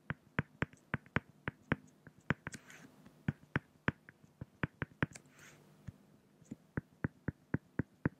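A fine-tip pen draws strokes around a raven's eye on a flat, solid acrylic glass (plexiglass) sheet. It makes about 24 short, dry tapping clicks in a steady, uneven rhythm, with a couple of brief soft scratching sweeps in between.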